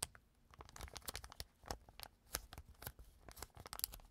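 A clear plastic zip bag has its zipper pulled open by fingers, then is lifted and handled. Quiet, rapid, bright ticking and crackling crinkles run throughout, with sharp, short clicks and no ringing.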